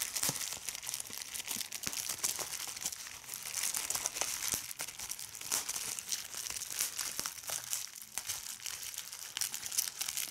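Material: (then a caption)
Plastic. A large sheet of clear plastic bubble wrap is held close and crumpled by fingers that pop its bubbles. Steady bright crinkling runs throughout, broken by many sharp little pops, with almost no low end.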